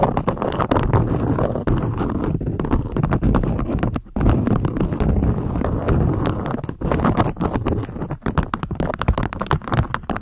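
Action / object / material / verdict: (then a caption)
tap / beeswax-coated cotton food wrap / waxed cotton / none. A beeswax-coated cotton food wrap is draped into a peak while long nail tips tap and scratch the stiff waxed fabric. It makes a dense, steady run of quick, dull taps mixed with crinkly scratching, heavy in the low end with only a short pause near the middle.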